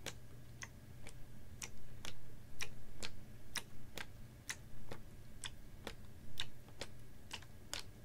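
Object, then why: Capped plastic water bottle, about half full of water. Fingernails tap a clear, ribbed PET water bottle that is capped, about half full of water and held horizontally. Short, bright ticks come in an uneven, quick rhythm, each fading fast, over a steady low hum.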